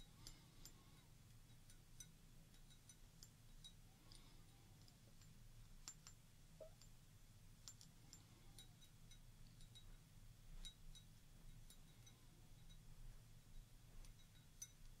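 Long orange nails tap and scratch the side of a small, round, clear glass tumbler partly filled with water, resting on a table. Quiet, bright, short clicks with very little ring scatter across a steady low hum.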